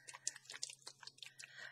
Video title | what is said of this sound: #BohemianCrafting - Alcohol Ink on Acetate Bottle Tags | i don't hear that ball moving around in there